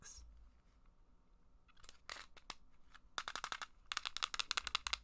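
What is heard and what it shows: Long black acrylic nails scratch and tap a small, hollow, translucent red plastic game case held close to the microphone. Soft, hissy scratching gives way to sharp, bright clicking taps that come faster and louder toward the end.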